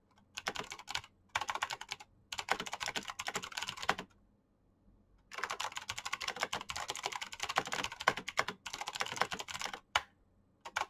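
Fingertips type fast on a black plastic mechanical keyboard with clicky switches, producing rapid, bright, sharp clicks that die away almost instantly. The typing comes in bursts separated by short pauses, including a longer silence midway. It ends with a few isolated keystrokes.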